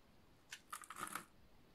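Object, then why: Bar of soap. A utility knife blade shaves and scrapes a solid green oval bar of dry soap, producing flakes. About five short, dry, crunchy scraping bursts are heard, bright and crisp with little low end, over quiet background. They cluster into a quick run in the middle of the clip.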